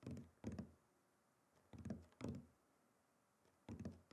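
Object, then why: Wooden chopping board. A wooden chopping board is tapped and knocked in quick clusters, giving dull, low wooden thunks with short decay. Four bursts of several knocks are separated by quiet pauses.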